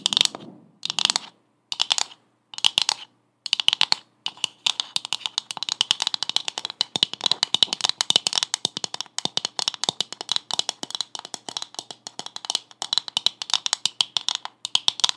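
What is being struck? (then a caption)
Coconut shell half. A hollow brown coconut shell half with a fibrous surface is tapped and scratched with long acrylic nails in quick bursts. The result is dense, bright, dry clicking and scratchy ticking with almost no low end. Short clusters at the start build into a nearly continuous rapid patter.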